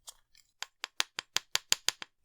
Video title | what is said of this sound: Wurkkos WK15 Compact 21700 High Output EDC Flashlight Review | with this particular battery, sometimes you'll hear a rattle once in a while